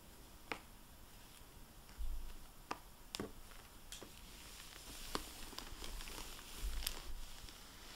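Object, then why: Hardback book in a glossy plastic dust jacket. Long painted nails and fingertips tap and handle the glossy plastic-covered dust jacket of a closed hardback library book, 'Cape Perdido', lying on a wooden table, then a dry microfiber cloth wipes it. Sharp, bright nail clicks stand out over a quiet low rumble, with soft crinkling and brushing swells in between.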